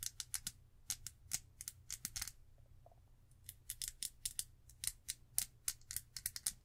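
Long acrylic nails scratch and tap in fast strokes across the ridged, patterned reddish glass body of a small rectangular perfume bottle with a gold atomizer cap, held in the hand. A rapid series of bright, crisp clicks and scrapes with almost no ring, pausing briefly near the middle before speeding up again, over a low steady hum.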